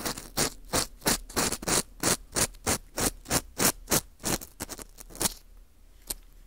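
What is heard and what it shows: An orange plastic earpick scrapes around inside the hole of a porous dried wheat gluten ring (fu) held in gloved hands. It makes a quick run of bright, dry, scratchy strokes at a steady rhythm. The strokes thin out and fade near the end, leaving one last faint scrape.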